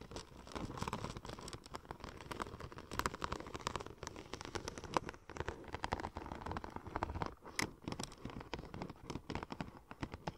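Long nails tap and scratch the embossed surface of a curved, hollow, silver checker-plate-pattern vinyl wrap sheet. The result is a dense, continuous run of quick, dry, crinkly taps and scrapes with a papery, crackling texture, centered around 1 kHz. Occasional brighter clicks stand out, and no sound rings on after each touch.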